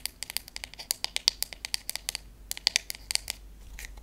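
A wooden paddle hairbrush has its wooden back and handle tapped with long nails and fingertips. Around two dozen quick, sharp, bright clicking taps come in an irregular rhythm, each dying away almost instantly with very little low end. The taps thin out into softer scratchy touches toward the end.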